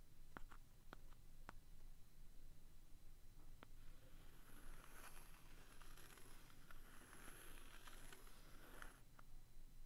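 The pointed tip of a wooden stick taps, traces and scratches across the thin, flat, solid printed cardboard cover of a hand-sized vintage "Universal Cement" memo pad held in a hand. A few sharp, short taps come first, followed by a continuous dry, bright scratching over a soft low rumble. The whole clip stays quiet.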